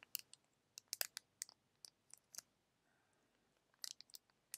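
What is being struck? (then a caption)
Small foil tea sachet. A small, flexible, hollow silver foil tea sachet is held in both hands and crinkled and scratched with fingertips and short nails. About fifteen quiet, sharp, bright crackles and clicks come in irregular clusters, with a short near-silent pause in the middle before a final burst of crinkling. Each crackle is very short with no ring.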